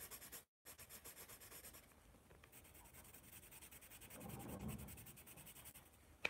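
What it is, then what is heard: Pencil writing on a spiral notepad. A wooden pencil writes and scratches across a sheet of a spiral paper notepad held in the hand, making quiet, rhythmic, bright scratching strokes. A brief silent gap comes early, then a fuller, lower rubbing swells in the middle. The clip ends with a sharp tick.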